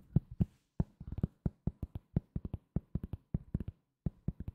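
Fingertips tap on a solid, round cork board coaster held in the hand. About two dozen short, dull, low thuds come in quick irregular bursts, each dying away almost instantly with no ring.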